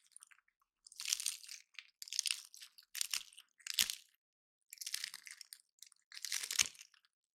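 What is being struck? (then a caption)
Painted pine cone. Fingertips and nails scratch and break the scales of one dry, solid, woody, hand-sized pine cone painted gold, held in both hands, with silver cones sitting untouched behind it. Bright, dry crunching and crackling comes in repeated short bursts separated by silence, with almost no low end.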